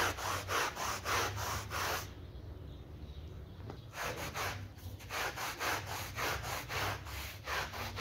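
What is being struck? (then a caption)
Synthetic pile rug scrubbed with a bristle brush. A small rectangular synthetic pile rug, wet with muddy foam and lying flat on the floor, is scrubbed in strokes with a yellow bristle brush held in a green-gloved hand. Rhythmic, bright, wet swishing strokes run steadily, pause briefly in the middle, then resume at the same back-and-forth pace over a low rumble.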